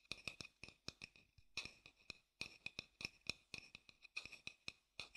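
A dark-brown hollow wooden bowl, held upside down, has its outer surface tapped and scratched with fingertips. It gives a quick, uneven run of quiet, dry, bright clicks centered around 2.5 kHz, with almost no low end. Each tap dies away at once, with soft scratchy rustles between taps.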